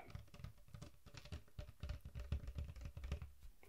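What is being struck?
Large plastic soda bottle of liquid.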